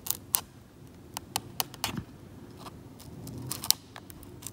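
Fingers hold a metal scalpel blade and scrape it along a white card edge across a flat, cracked, varnished oil paint layer on canvas that is partly lifted to a blue-grey ground. About ten sharp, bright, very short ticks and scratches sound over a faint low rustle, with a soft, steady scraping swell in between.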